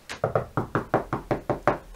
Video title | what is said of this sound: How to Fix into Plasterboard - a Complete Guide to all the Best Fixings | taking a line across this wall here, that sounds quite solid